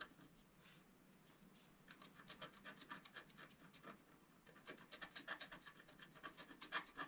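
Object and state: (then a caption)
Scratch art paper sheet. A pointed wooden stylus scratches a flat black wax-coated scratch art sheet lying on a table and held down by one hand. A faint scraping opens the clip, then rapid, dry, raspy strokes follow at about four per second. Each stroke is bright and short with no ring, and the last few seconds are the loudest.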